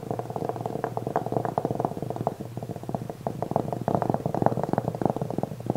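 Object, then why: Velvet-covered jewelry tray. Fingernails scratch the surface of a black velvet-covered jewelry tray held upright, flat and rigid. A dense, quick run of soft, muffled rasping strokes sits in the low-mid range with almost no high edge, dipping slightly quieter in the middle before picking up again toward the end.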